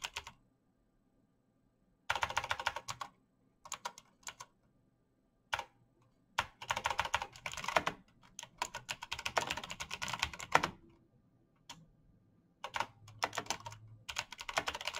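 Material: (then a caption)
Plastic. Fingertips type at a moderate rate on a black plastic mechanical keyboard with backlit keys, producing bursts of quick, bright clicky keystrokes separated by short silences. Each press is crisp and dies away almost immediately, with little low-end body.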